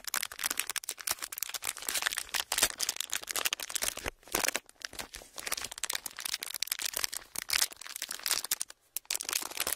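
A thin clear plastic sheet is flexed and squeezed with fingers, giving a steady run of dense, bright crinkles and rubbing crackles. The sound is sharp and brief, with almost no low end and only a few short pauses in the crinkling.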